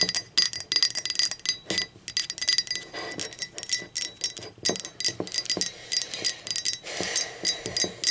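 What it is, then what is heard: Ceramic mug. Long acrylic nails tap the body of a hollow blue speckled ceramic mug lying on its side and then upside down. The result is a quick, uneven run of bright, clicky taps with a high, glassy ring that dies away almost instantly. There is very little low end.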